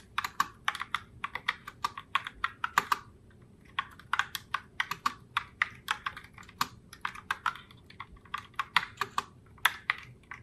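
Fingertips with long nails type continuously on a pink Logitech Pop Keys mechanical keyboard in the Heartbreaker Rose color, with round plastic keycaps. Each keystroke gives a short, bright, clacky plastic click centered around 1.7 kHz with almost no low end. The clicks die away almost instantly in a quick, uneven patter.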